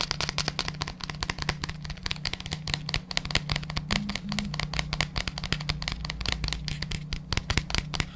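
Fingertips tap and scratch the labelled side and the base of a large, hollow, white plastic supplement tub held close to the mic. Rapid, dry, clicky taps with bright scratchy edges come with almost no ring, over a steady low hum.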